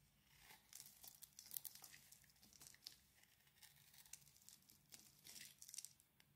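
A knife blade scrapes and cuts flakes off the surface of a solid, hand-sized oval bar of blue and cream swirled soap. The result is a quiet run of crisp, bright scraping and crinkly shaving sounds in short, uneven bursts, with almost no low end.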